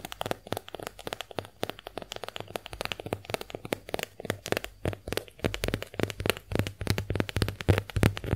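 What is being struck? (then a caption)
Konjac sponge scratched and tapped with fingernails. A pink heart-shaped konjac face sponge is scratched and tapped by long nails. Quick, irregular dry crackly taps and scrapes come in a dense run of short clicks. There are brief bright transients over a low, steady hum.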